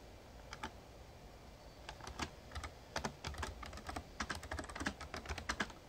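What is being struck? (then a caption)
Plastic keyboard keys. Fingertips type on a full-size backlit plastic Razer Ornata Chroma mechamembrane gaming keyboard. A quick, uneven run of short clicky keystrokes with a bright tick grows denser toward the end. A low steady background hum runs underneath.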